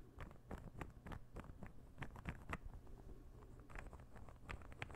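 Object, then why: Wooden interlocking puzzle ball. A palm-sized, light-wood interlocking puzzle ball held in the fingers is tapped and scratched with fingernails. The result is a quick, dry patter of short, soft clicks with a low, woody body and brief scratching in between. Each tap dies away almost at once.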